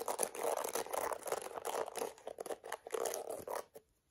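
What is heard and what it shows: Long acrylic nails rapidly scratch across the dense black plastic bristles of a hand-held plastic detangling hairbrush. The result is a busy stream of dry, crackling scrapes with bright hiss and no low end. The scrapes thin into separate short strokes and stop just before four seconds, leaving near silence.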